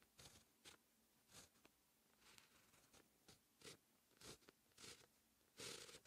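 A dark fine-tip pen held in the fingertips writes Korean text on a flat sheet of white lined writing paper resting on a hard surface. Quiet, bright scratching strokes come in a series of short bursts, separated by brief near-silent gaps between letters.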